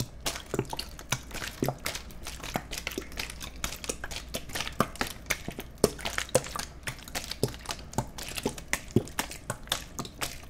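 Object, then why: Thin-walled plastic water bottle. A clear, empty, thin-walled plastic water bottle is held in both hands while fingers squeeze, crunch and tap it. The result is a steady run of dense, sharp crackles and crinkles over a low background hum.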